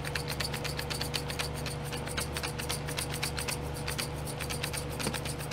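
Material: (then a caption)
Plastic. Long nails rub and scratch the lids of small clear domed plastic glitter pots sitting in a pink plastic tray. Rapid, uneven scratchy clicks with a bright, crisp edge repeat continuously over a steady low hum and a faint constant tone near 500 Hz.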